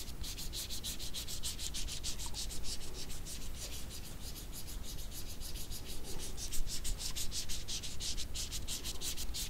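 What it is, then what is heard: Dried jujubes rubbed together. A small, wrinkled dried red jujube held at the fingertips is rubbed against another dried jujube with the fingers. It makes a quick, steady series of dry, bright scratchy strokes over a constant low rumble, growing a little louder and denser in the second half.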